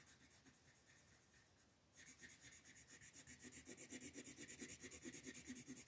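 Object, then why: Wooden colored pencil on a paper coloring page over a wooden table. A light wooden colored pencil shades a flat paper coloring book page resting on a wooden table in quick back-and-forth strokes, while the other hand, with long purple nails, holds the page. A faint, soft scratching gives way after about two seconds to louder, bright, papery rasping in a steady rhythm of about eighteen distinct strokes.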